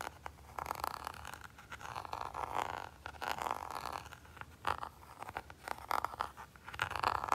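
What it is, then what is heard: Plastic handheld game console. A fingertip and short nail scratch and tap the textured back of a small red Nintendo Game & Watch, a hollow hard plastic handheld game console shell with a printed label. Soft, dry scraping strokes with a midrange, zipper-like rasp around 1 kHz alternate with quick, sharp taps that die away instantly.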